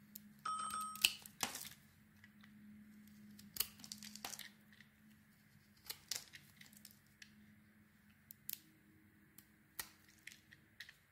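A small metal knife blade carves a solid oval pale green soap bar with a green glitter inlay, held in the hand, peeling thin curling shavings off its surface. Quiet, bright, crisp scraping and crackling bursts come at irregular intervals over a faint low hum, with a short electronic tone near the start.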